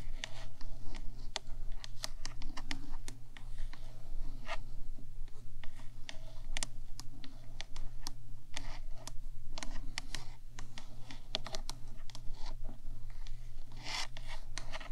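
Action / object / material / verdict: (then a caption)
tap / small hollow metal box of a microphone / metal / none. Long nails of both hands tap and scratch the top of a small hollow rectangular metal box, the body of a 3Dio binaural microphone. Quick, dry clicks and brief scratches come in a dense, irregular stream, over a steady low hum that runs throughout.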